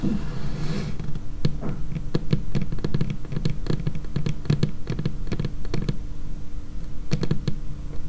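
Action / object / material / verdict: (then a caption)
tap / laminated wooden tabletop / laminate wood / none. Long painted fingernails tap quickly on a dark laminated wooden tabletop, close up. Many sharp, brief clicks with a low, woody thud come in uneven bursts over a steady low hum, with no ring after each hit.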